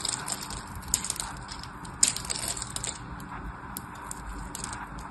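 A small metal knife blade scores and scrapes the surface of a solid orange-and-white striped bar of dry soap held in hand, chipping off crumbly cubes. Steady, dry, crunchy scraping with bright, crisp crackles and ticks is heard throughout, with a few sharper cracks standing out near the start and around the middle.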